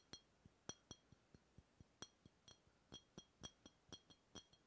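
A hollow brown glass beer bottle is held sideways beside the microphone and tapped with the fingertips of the other hand. Each tap is a quiet, short clink with a bright, glassy ring that dies away almost at once, repeated in a quick, uneven run of taps.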